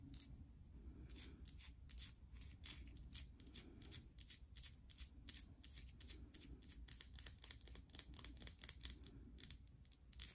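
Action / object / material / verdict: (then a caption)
tap / bar of soap tapped and scratched with fingernails / soap / none. Long nails tap and scratch the surfaces of a solid bar of soap, white underneath with a red embossed top, as it is turned in the hands. Rapid, dry, bright clicks and scrapes follow one another closely over a soft low rumble.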